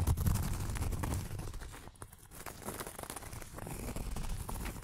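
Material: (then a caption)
Cork. Long acrylic nails scratch across a flat, round cork board, producing a dense, rapid, uneven scratching and crinkling texture. The sound dips quieter briefly around the two-second mark, then the steady scraping resumes.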